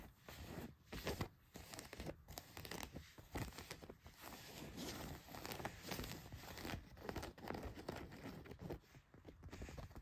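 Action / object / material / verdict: scrape / denim jeans fabric / denim / none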